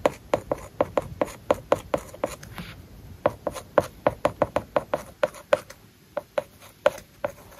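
A plastic stylus tip writes on a large, flat iPad glass screen covered with a matte plastic paper-like film. It makes a quick run of about thirty short, dry tapping and scratching strokes, each with a mid-pitched click and a brief bright scrape. The strokes stop briefly partway through, then the steady writing rhythm resumes.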